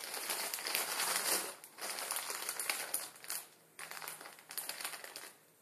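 Fingertips scratch and crinkle a full Maruchan instant ramen packet, its plastic film wrapped over a dry noodle block, lying flat on a wooden table. Bright, dense crackling comes in several bursts, separated by brief quieter gaps near the middle and end.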